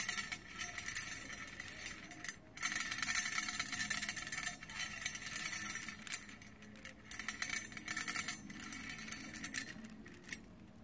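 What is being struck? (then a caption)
Plastic bead necklaces in a round metal tin. Strands of metallic plastic Mardi Gras bead necklaces are lowered and poured by hand into an open round metal compact-style tin with its lid hinged up, already partly filled with gold and green beads. Dense, bright clinking and rattling comes in bursts as the beads pile up against the metal, with short quiet gaps between pours.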